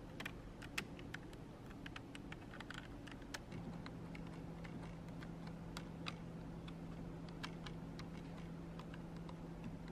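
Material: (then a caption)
Plastic. Long acrylic nails type on and tap the plastic keys of a black plastic computer keyboard. Quick, crisp clicks and taps come in an irregular stream over a constant low hum, which settles into a steadier low tone about a third of the way through.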